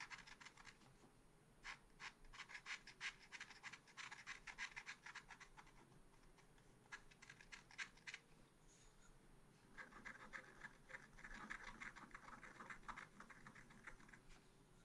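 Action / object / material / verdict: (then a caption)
scrape / black-coated scratch art paper scratched with a wooden stylus / coated paper / none. A wooden stylus scratches a small black-coated scratch art sheet held in a spiral pad. Dense, short, bright scratching strokes come in quick irregular bursts, with a brief quieter pause partway through before the scratching resumes.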